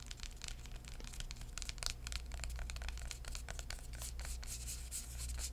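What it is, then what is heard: Hardcover book. A hardcover book with a purple floral cardboard cover is tapped and rubbed on the cover with fingertips. Quick, soft, dry taps and scratchy, bright rubbing strokes overlap continuously. A steady low hum runs underneath.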